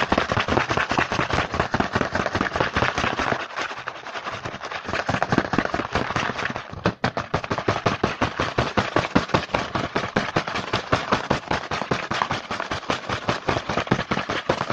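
Fingertips tap and scratch quickly on the front of a small printed cardboard Hanuta snack box held in the hand. Dense, fast, uneven dry taps with a bright papery edge run throughout, easing into softer scratching from about 3.5 to 5 seconds and pausing briefly near 7 seconds before the rapid tapping resumes.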